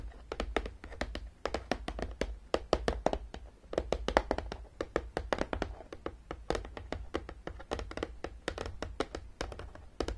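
Long nails tap quickly on top of a long, closed, hollow printed cardboard Battleship game box. The result is a rapid, uneven run of short, dry, hollow taps, mostly midrange with a little brightness and almost no ring. A steady low hum sits underneath throughout.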